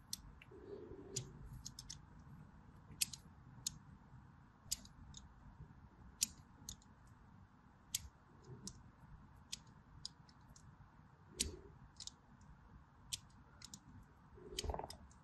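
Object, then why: Bar of soap cut with a blade. A blade cuts long diagonal lines into a solid white DURU bar soap held in hand. Quick, bright, crisp clicks and scratches sound in an irregular series over a soft low rumble, with a few duller scraping strokes between them.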